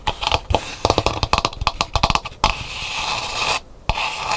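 Long nails scratch the painted inner surface and rim of an empty, hollow dried calabash gourd bowl. A quick run of sharp, dry scratches gives way to a steady, continuous scrape. The scrape briefly stops, then starts again.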